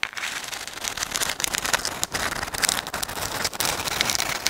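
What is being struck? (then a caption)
Dried sand dollar shell. A dried white sand dollar, a palm-sized, thin, flat and hollow calcium carbonate skeleton held in both hands in front of the microphone, is scratched and tapped with long acrylic nails. The result is a steady, dense, bright crackling with sharp, quick clicks and almost no low end.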